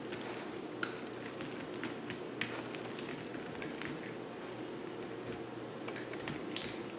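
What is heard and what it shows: A dry, solid black bar of soap is scraped and shaved with a utility knife blade. It makes a steady, quiet, crackly scraping texture with occasional bright, sharp ticks as the blade catches and flakes come off.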